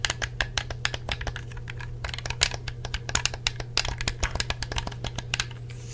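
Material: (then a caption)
Plastic. Fingertips tap the hollow shell of a black plastic Xbox 360 controller and press its buttons and thumbsticks, producing a rapid run of about 34 short, dry, bright clicks and taps. Each click dies almost instantly over a steady low hum.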